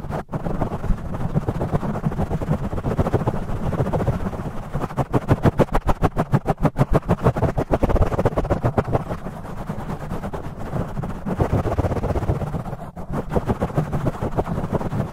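Fingertips rub and scratch fast on a black foam windscreen over a metal microphone, with the audio sped up 2x. It makes a dense, rapid run of rough, muffled scratching strokes with a heavy low-end rumble, and the rhythm surges and eases over the clip.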